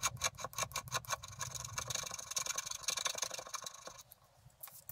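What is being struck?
Scratch-art paper card scraped with a wooden stylus.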